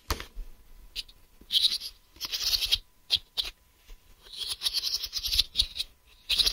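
A hollow, smoky-grey translucent plastic case lies flat, held with both hands, while fingertips and nails rub, tap and scratch across its flat face. The result is a series of dry, bright scratching bursts and short, crisp taps with quiet gaps between them, almost all of the sound sitting high with very little low end.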